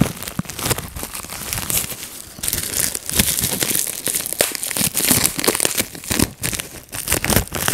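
A clear plastic bubble wrap sheet is held in both hands while fingertips pinch and pop its air bubbles. Rapid, sharp pops mix with steady crinkling of the plastic, bright and crisp throughout. Each pop is short and dry, with almost no ring.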